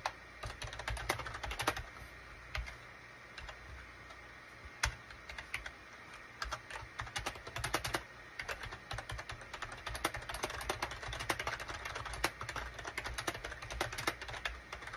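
Rapid key taps from the fingertips of both hands on a gray SHIPADOO K600 full-size wired USB keyboard with a gray plastic case and cream, gray and orange plastic keycaps. The short, bright plastic clicks come in quick, uneven bursts over a steady low hum, each tap dying away almost instantly.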